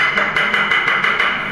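A ceramic floor tile a little farther away is tapped repeatedly for comparison, each tap a short, bright knock centered around 1.5 kHz with almost no low end. The tile sounds more solid than the ones tapped before it.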